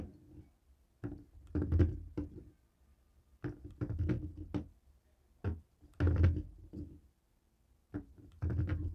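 A jade roller taps and rolls across a dark grey plastic cable TV remote with buttons resting on a wooden table. Short bursts of dull, low knocks and rolling rumbles come in uneven clusters, with quiet gaps between them, and each tap dies away quickly.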